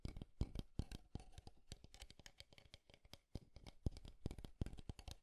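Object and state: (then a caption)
Wooden alarm clock tapped and scratched. Fingertips and nails tap and scratch along the wooden frame edges of a small, square, light wooden alarm clock with a round face, held up in both hands. The result is a quiet, dense run of short, crisp taps with soft low thuds and faint scratching between them.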